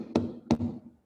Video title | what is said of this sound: AICTE FDP1 DAY4 FN Session | this sound itself you can make out that possibly I am tapping on wood